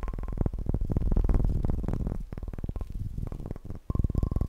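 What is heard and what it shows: A bowling pin is tapped fast and aggressively in a rapid, uneven stream of short, deep, hollow knocks. Each knock dies away almost instantly, with a faint ringing tone appearing at the start and near the end.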